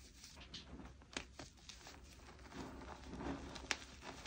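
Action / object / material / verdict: scrape / loose pile of crushed gym chalk powder and chunks / chalk / none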